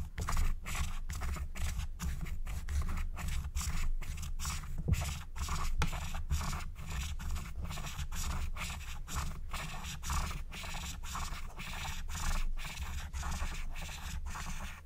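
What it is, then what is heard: Scratch-art paper being scratched. A wooden stylus scratches along the outlines of a thin black-coated scratch-art card lying flat. Quick, dry, scraping strokes repeat steadily over a constant low hum, each with a bright, papery rasp that ends almost at once.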